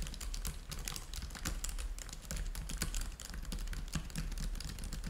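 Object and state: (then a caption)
Plastic laptop keyboard. Fingertips type steadily on a black plastic laptop keyboard. They make a rapid, continuous stream of short, dry, bright key clicks over a steady low hum.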